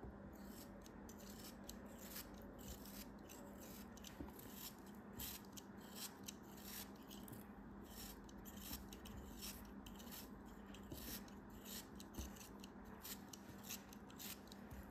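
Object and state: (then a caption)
Kinetic sand block being cut. A solid beige kinetic sand block held in a hand is cut again and again with a craft knife blade, with crumbs falling away. Each cut makes a short, bright, crunchy scrape over a steady low hum.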